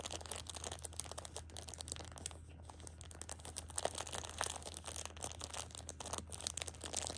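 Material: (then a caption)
Plastic film. A hand with long pink nails grips and crinkles the loose plastic film of a plastic-wrapped pocket tissue six-pack. Dense, bright crackling and crinkling continues throughout the clip over a steady low hum.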